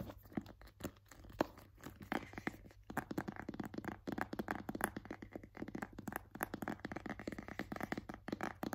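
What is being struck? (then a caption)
Small rigid cardboard box. A small, rigid, hollow white cardboard AirPods box is held in both hands while fingernails scratch and tap across its flat faces. The result is a dense run of quiet, dry scratches and crisp taps with papery crackle and almost no ring.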